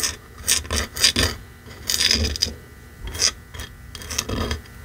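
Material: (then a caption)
Wood. Fingertips and nails scratch and tap across the face of a small red painted wooden block sign reading "It's beginning to look a lot like Christmas," lying on a fur rug. Bright, raspy scratching bursts come in irregular strokes, with soft low thumps from the taps underneath. The sounds are dry and short, with almost no ring after each stroke.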